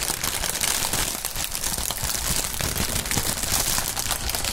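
Clear plastic air-pillow packing film with green print, thin and partly inflated, is held above a mat and crumpled by fingertips of both fingerless-gloved hands. A steady, dense crinkling and crackling runs throughout, bright and hissy, with many small crunches blending together at an even level.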